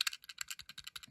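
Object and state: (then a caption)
Plastic base of a die-cast model van. Rapid light tapping on the plastic base of an Era Car Toyota Hiace die-cast model van, a Japanese police version. It gives a string of short, dry, high clicks with almost no ring. It sounds less sturdy and cheaper than the echoing metal base of a Tarmac Works Nissan Silvia S14 model.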